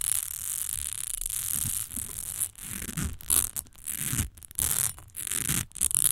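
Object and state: Glass perfume bottle.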